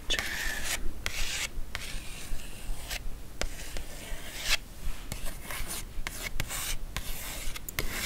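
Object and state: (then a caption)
Glossy paper magazine cover. Long acrylic nails scratch and rub across the cover of a thin, glossy paper magazine lying flat on faux fur. The result is a series of dry, papery rasping strokes separated by brief pauses, at a fairly steady pace of roughly two to three strokes per second.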